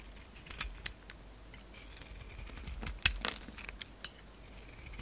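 A hand-sized solid lilac soap bar with glitter edges, held in the palm, is shaved and scraped with a utility knife blade, and flakes fall off. Short, bright scraping and clicking sounds come in scattered bursts over a quiet background, with the sharpest strokes around the middle and toward the end.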